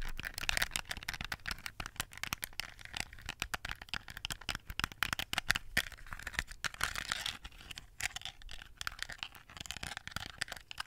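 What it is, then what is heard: Plastic toy phone. Long acrylic nails tap and scratch a small hollow plastic toy phone with a decorated, gem-covered back, held in both hands in front of the microphone. A fast, continuous stream of short, crisp, bright clicks and scratchy rattling is heard, with little low end and no ring after each tap.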